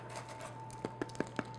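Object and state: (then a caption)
Baked bagel, hollow (done). A golden brown homemade bagel, just taken from the oven, is tapped four times, giving short, dull, hollow knocks over a faint steady background hum. The hollow sound shows the bagel is baked through.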